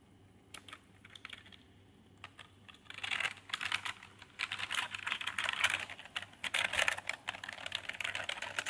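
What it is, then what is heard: Plastic keyboard being typed on. Fingertips type on a full-size backlit Redgear membrane gaming keyboard with red lighting, plastic keycaps and a plastic body. A few scattered key taps give way after about three seconds to fast, steady typing: dense, bright, clattery plastic clicks that stop quickly, over a faint low hum.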